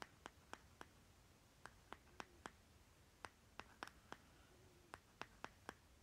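Fingernails tap and scratch the side rim and bottom of a small, round plastic lip butter jar with a green plastic lid, held in the hand. Sixteen quiet, dry, sharp clicks come at an uneven pace, each dying away almost instantly, with faint scratchy rubs between them over a soft background hiss.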